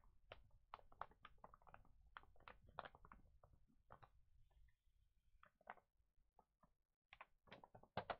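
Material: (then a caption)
Paper. Both flat hands rub and press with their fingertips on the pages of an open, thin paper children's pet magazine lying flat, then turn a page. The result is a quiet series of short, sharp rustles and crinkles with a brief softer pause midway, over a faint low rumble.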